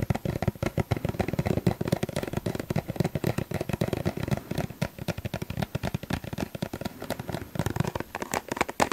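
A small, hollow yellow plastic suncream tube is held in front of the microphone and tapped with the fingertips. A rapid, steady run of short, dull, hollow taps continues throughout, with a low, thumpy body and very little ring.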